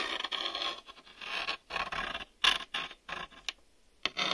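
A black, hollow hard-plastic VHS video cassette is held in the hands while fingertips and nails tap and rub its front face and ribbed top edge. Bright, dry scratching and scraping strokes alternate with short sharp taps, each stopping quickly with almost no ring and very little low end.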